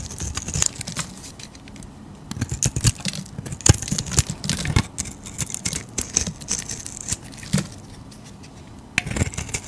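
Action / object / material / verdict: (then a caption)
scrape / bar of soap shaved with a knife blade / soap / none. A utility knife blade shaves curls off a solid striped soap bar held in the hand, producing a dense run of short, crisp scraping and crackling strokes with bright edges and a soft low body. The cutting comes in bursts, easing to quiet pauses near two seconds and again near eight to nine seconds before a final flurry of strokes.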